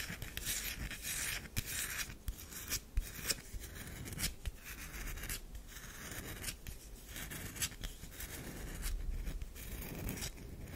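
Long nails scratch lines across the surface of a solid oval tan DURU bar soap, making a run of close, dry scraping strokes. Each pass carries a bright, hissing texture over a soft low rumble, with a few sharper ticks standing out as the nails bite in.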